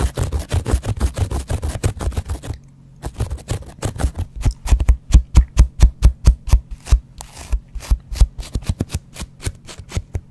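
A small, soft, porous yellow foam kitchen sponge with a green abrasive scouring layer is held in the hand and scratched with a double-edge razor blade held by fingers with painted nails. Quick, dense scratching strokes run for the first few seconds, then stop briefly. The strokes resume as short, dull, low-heavy scrapes at an uneven pace, some noticeably louder than others.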